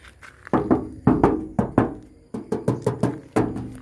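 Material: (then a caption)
Steel. Repeated knocks on a body part of a 2022 L300 New pickup produce a quick series of short, dull, low-mid thunks with very brief ring, in uneven groups of two. The part sounds solid and is confirmed to still be steel.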